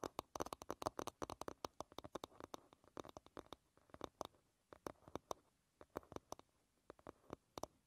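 Long red nails tap and scratch the smooth, solid wooden back of an oval wooden paddle hairbrush lying bristles down. Dozens of quick, dry clicks come in an irregular stream, densest at the start and spacing out later. Each tap is short and woody, centered in the midrange with bright edges, and dies almost instantly over a faint scratching hiss.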